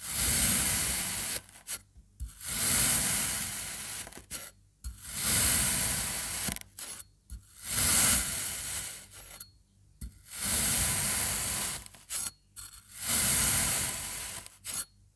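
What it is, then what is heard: Kinetic sand block being cut. A serrated knife slices repeatedly through a solid slab of kinetic sand shaped into yellow and blue triangles. Six long cutting strokes each make a gritty, scraping hiss that is bright and high, with a softer low crunch underneath. Short pauses and small clicks fall between the strokes.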